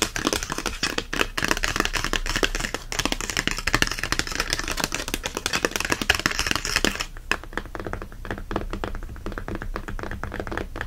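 A paper and cardboard book is tapped in a rapid, continuous patter of short, dry clicks and light thuds. For the first seven seconds the taps blur together under a bright, hissy wash. After that they become sparser and more distinct against a quieter background.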